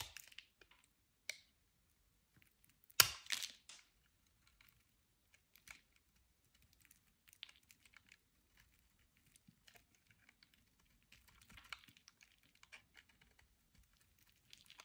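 A utility knife blade scrapes powdery flakes from a solid, palm-sized oval bar of soft, dry white soap held in the hand. Quiet, bright, crisp scratches and ticks are scattered throughout, with one louder rasping burst near the three-second mark.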